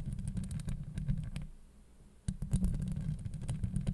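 Long acrylic nails of both hands scratch a hollow steel mesh microphone grille, giving a dense, heavy low rumble studded with quick bright clicks and ticks. The scratching fades to a near-quiet lull midway, then starts again abruptly and loudly, continuing to the end.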